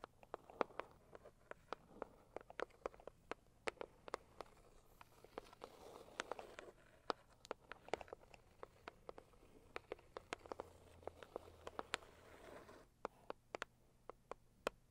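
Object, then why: Rigid cardboard box tapped with fingernails. Long purple acrylic nails tap and scratch the lid of a medium-size, hollow, pink floral Saviland rigid cardboard gift box. Quick, sharp, hollow clicks and taps come in irregular bursts, with soft scratching rustles between them. The sound is quiet and dry, and each tap dies away almost at once.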